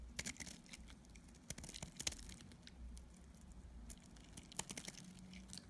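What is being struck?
Bar of soap.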